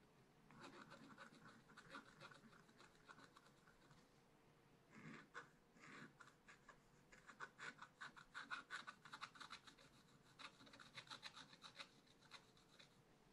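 A long wooden stylus held at a shallow angle scratches across a black coated scratch-art paper page in a small spiral pad resting on a table. The result is quiet, dry, raspy scratching in quick strokes with a bright, hissy edge, and a brief lull a little before the midpoint. Denser, sharper bursts of strokes follow in the second half.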